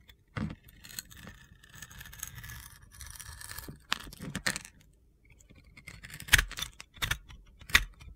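A utility-knife blade cuts crunchy chunks off a hand-sized solid bar of soap with a teal glitter coating and an orange interior. Gritty, bright scraping and crackling run through the first half, followed by a series of sharp crunchy snaps near the end.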